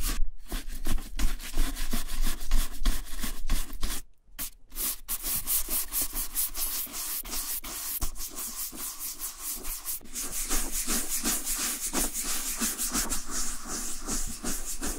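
A vintage Frye two-tone leather boot, tan upper and dark lower, is held in one hand and brushed repeatedly with a wooden-backed horsehair brush. Quick, rhythmic bristle strokes make bright, scratchy swishes over the leather. There is a short pause near the four-second mark, then the brushing resumes at a steady pace.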